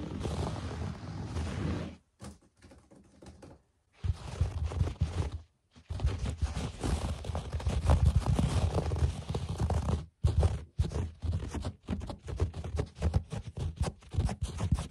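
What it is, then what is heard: Carpet scratched with fingertips. Short fingernails and fingertips scratch and scurry across a low-pile speckled beige and grey carpet lying on a flat, solid floor. The result is a dull, muffled rustling full of soft low thumps, broken by brief silent pauses. Toward the end it turns into quick, uneven bursts of patting.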